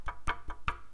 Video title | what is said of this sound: 台湾で入手したもの | ちょっとだけ隙間が開いててそういうところを叩くとあの木と木が当たるっていう音がします